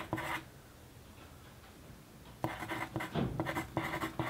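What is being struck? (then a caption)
Paper sheet under a pencil. The tip of a wooden pencil scratches across a flat white paper sheet lying on a desk during continuous writing. A short burst of dry, papery scratching is followed by a quiet pause, then a run of quick scratchy strokes with bright, hissy edges over a faint low tone.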